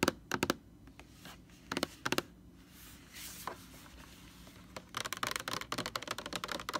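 Long orange nails tap on the label of a large white plastic Lysol laundry sanitizer jug. Sharp, bright, dry clicks come in small pairs and triplets with quiet gaps and a faint brushing sound between them. The tapping then turns into a quicker, denser flurry near the end.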